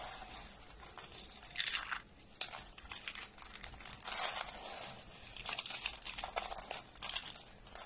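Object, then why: Thin soap slices crushed by hand. Both hands break and squeeze a pile of thin, dry orange soap slices into small crumbs. The result is a continuous run of dry, bright crunching and crinkling. Louder bursts come around 1.6–2, 4–4.5 and 6–7 seconds.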